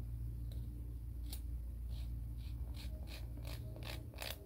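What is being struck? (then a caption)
Fingernail on emery board nail file. A fingernail is filed back and forth along a grey emery board nail file held horizontally. Short, bright rasping strokes repeat at an uneven pace over a steady low hum.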